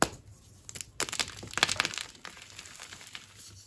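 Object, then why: Magnesium carbonate gym chalk block. Dry white chunks of a gym chalk block (magnesium carbonate) and loose powder on a tray are crushed and ground between bare fingers and palms. Bright, dry crackling and crunching come in quick bursts that cluster into a denser grinding patch in the middle before thinning to soft, gritty rustling. The solid pieces break down into powder.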